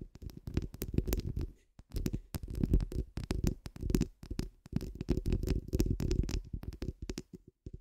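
Long pointed acrylic nails scratch the hollow steel mesh head of a microphone while both hands cup it. The result is a dense, muffled, rumbling scrape that sits mostly in the low end, with quick bursts of bright crackle. The scraping breaks off in brief pauses near 1.8 and 4.6 seconds before resuming.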